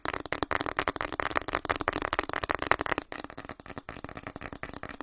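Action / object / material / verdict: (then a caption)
tap / plastic snack packet / plastic film / none. A hand-sized, partly filled plastic snack packet, printed orange and white with a flower pattern, is crinkled, squeezed and tapped with fingertips close up. Rapid, dense crackling and crinkling with sharp tapping transients fills the clip. After about three seconds the sound turns quieter and sparser.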